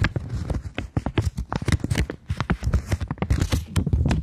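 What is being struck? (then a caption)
Polymer banknote. A polymer £20 banknote, held in both hands, is folded and flexed, then tapped and scratched with long nails. The result is a rapid, uneven series of crinkles, crackles and soft taps, with dull low-pitched handling thumps underneath and short bright clicks on top.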